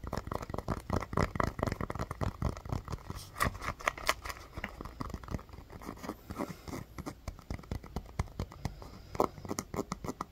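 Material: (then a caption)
Rubber. A small, hollow, inflated orange pebbled rubber mini basketball is held in the hands and tapped and scratched with long fingernails. Quick, dry taps come in a dense, uneven stream with soft scratchy texture between them. Each tap stops almost instantly, with a muted low thump and a little bright click.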